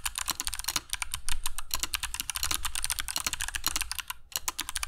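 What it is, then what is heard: Mechanical keyboard with clicky switches and PBT keycaps. Fingertips of both hands type continuously on a compact black mechanical keyboard with dark PBT plastic keycaps and Kailh Box Jade switches, resting on a cork desk mat. A rapid, steady stream of sharp, bright clicks with very short decay rides over a low thudding bottom from the keys bottoming out.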